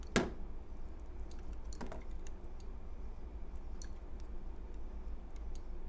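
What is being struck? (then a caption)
Bar of soap cut with a knife blade. A utility knife blade cuts into a palm-sized, solid cream bar of soap held in the hand and scrapes thin shavings off it. A sharp crisp cut opens the clip, followed by a second softer scrape and faint scattered ticks over a steady low background hum.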